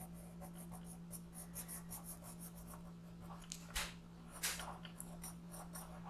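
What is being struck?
Colored pencil on paper.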